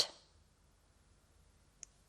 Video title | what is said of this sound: 3. THE BEARDED CAPUCHIN MONKEYS OF FAZENDA BOA VISTA. Field experiments on tool use. | it sounds Hollow when tapped